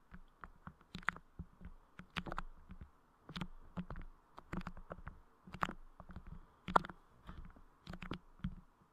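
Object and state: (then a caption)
Clear putty pressed and tapped on a microphone. Clear putty clay covering the head of a Blue Yeti microphone is squished and tapped by fingertips. The result is a string of soft, sticky, wet clicks and squelches, each with a quick low thump and a brief bright snap, in an irregular rhythm.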